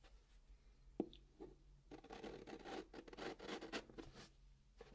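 A white chalk stick writes digits and draws a long curved line on the top of a flat brown cardboard box, scratching the cardboard. A sharp tap of the chalk comes first, then a long run of dry, gritty scraping strokes sits mostly in the mids with a faint bright hiss, before a final short scratch at the end. The sound is quiet and close.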